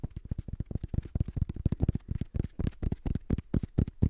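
Fingertips tap and scratch the page edges and cover of a black paperback book, a solid block of paper. The result is a fast, uneven run of short, dull, low thumps with brief scratchy texture between them, each dying away almost at once.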